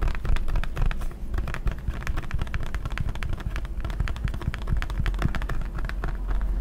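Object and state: Plastic hand sanitizer bottle.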